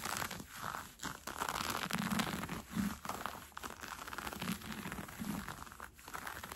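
Fingertips and nails scratch and pinch brown cotton fleece sweatpants with an elastic waistband while they are being worn. The result is a dense, steady run of soft, scratchy, crinkling rustles in uneven bursts with brief quiet dips, carrying a low fabric rumble under a bright, airy hiss.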